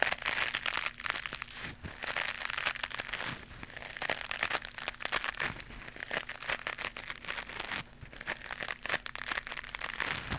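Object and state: Knitted mesh scrubber pad being scratched.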